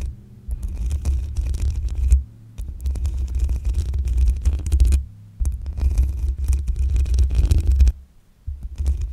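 Long acrylic nails scratch and tap the black metal mesh grille on top of a hollow-headed desktop condenser microphone. The result is a deep, booming low rumble layered with dense, gritty scraping and rapid tapping. It comes in several sustained stretches separated by brief near-silent pauses.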